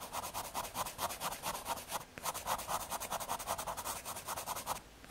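A graphite pencil scratches light shading strokes across the surface of a small square of thin, solid brown MDF fiberboard. A steady run of quick, dry scratching strokes with a papery rasp centered around 1 kHz and a bright hiss above continues through the clip, with a brief pause near the two-second mark.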